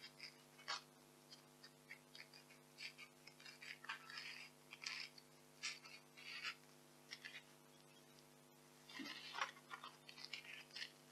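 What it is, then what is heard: Polystyrene foam packing peanuts. A small white expanded polystyrene packing peanut, one of several resting on a velvet cloth, is held, squeezed and rubbed between fingertips and long nails. It gives quiet bursts of bright, squeaky, crackling friction, some brief and some drawn out, separated by short pauses. A faint steady low hum runs underneath.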